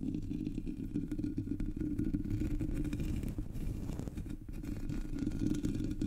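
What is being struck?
Metal mesh microphone grille.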